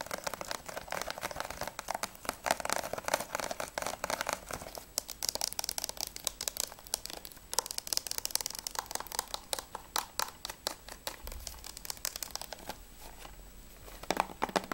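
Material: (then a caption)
Plastic. Fingernails tap rapidly on the front, spine and back of a closed, hollow plastic PS3 game case for Battlefield 3 Limited Edition. The result is a dense stream of short, dry, bright clicks with a hollow plastic knock, each dying away almost instantly.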